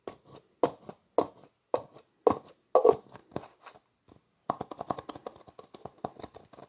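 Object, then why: Plastic jar with plastic screw lid. Fingers twist the black plastic screw lid of a translucent plastic jar back and forth, producing short, dry plastic clicks and scrapes centered in the mids. The first half has a spaced series of louder twisting bursts. After a brief pause, a quicker run of softer, denser ticking follows.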